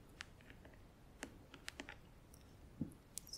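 Long acrylic nails tap rapidly on the front edge of a closed, hollow, clear plastic compartment organizer filled with press-on nails. The result is a quiet, irregular run of sharp, bright plastic clicks that die away almost instantly, with one duller, lower knock near the end.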